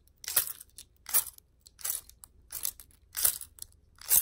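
A bunch of metal keys on a ring, with plastic fobs and charms, is held up by the ring and shaken so the keys jangle against each other. Six separate bursts of bright, high, metallic jingling are heard, with short quiet gaps between them.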